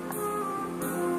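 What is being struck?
Nothing is struck.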